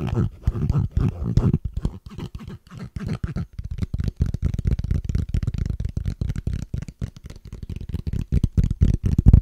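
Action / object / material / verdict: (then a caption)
tap / small plastic case / plastic / none. A small, flat, hollow transparent plastic case is held in both hands and tapped and scratched with fingertips and short nails. Rapid, dense tapping and scratching gives dull, low-heavy knocks that stop dead with no ring. The rhythm runs unevenly throughout, growing louder near the end.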